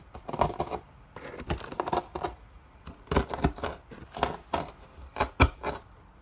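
A wooden block or pestle presses down on a pile of thin, hollow, curled shavings of dry soap in pink, white and blue on a white surface. Bursts of crisp, dry crunching and crackling come in quick clusters with short pauses between, each crackle cutting off almost at once. The curls are crushed into flakes and crumbs.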